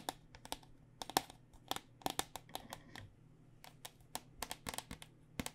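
A white plastic cycling helmet with a hollow foam-lined interior is held upside down while long nails tap rapidly across its outer shell. About two dozen quick, dry, clicky taps come in uneven bursts and pauses, each sharp and bright with a faint hollow tone and almost no ring. A low, steady hum sits underneath.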